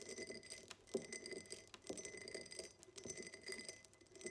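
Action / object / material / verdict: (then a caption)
tap / cut glass tumbler / glass / none. A tall, empty cut-glass tumbler with a diamond pattern, standing on a table, is tapped on its sides with long nails. Quiet, rapid, bright clicking taps run together into a continuous patter, each with a brief, short glassy ring.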